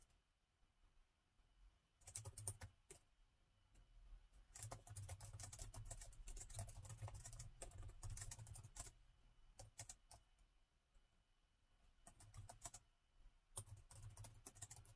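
Two hands type continuously on the plastic chiclet keys of a gold laptop, with fingertips tapping out rapid, irregular bursts of soft clicks. Each click is short and dry with a low thump beneath. The bursts are separated by brief pauses.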